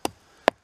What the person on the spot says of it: as i come up it gets solid here